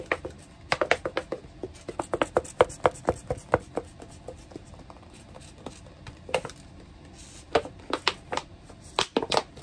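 A medium, hollow clear plastic tub with a white plastic lid and a little orange content at the bottom is held in both hands and tilted, and possibly shaken, while long painted nails tap and scratch it. The result is about 28 sharp, dry plastic clicks and taps with a hollow ring around 500 Hz and bright edges, which die away almost instantly. They come in quick clusters, separated by quieter stretches of faint scratching.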